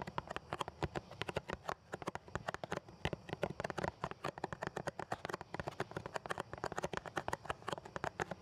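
A small, closed, yellow Lipton cardboard tea box of 20 tea bags, hollow and likely full, is held up in both hands in front of the face and tapped rapidly with the fingertips and nails. It makes a steady stream of short, dry, hollow clicks and taps with little low end. The taps have a mid-range body and a crisp, bright edge, and each one dies away almost at once.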